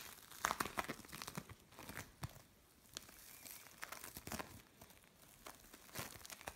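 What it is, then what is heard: Bead play foam. A lump of mixed blue and orange bead play foam is pressed, pulled apart and flattened by the palms of the hands. It gives off quiet, dense crinkling and crunchy crackles, with brief bright snaps of the beads, centered around 1 kHz with little low end.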